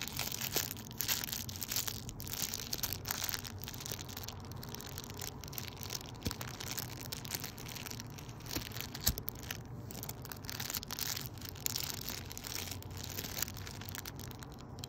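A thin, transparent, flexible plastic packaging sleeve, hollow and apparently empty, is held close up and squeezed and crinkled between the fingertips of both hands. The result is steady, quiet, bright crackling and crinkling, made of many quick, dry snaps over a soft low rumble.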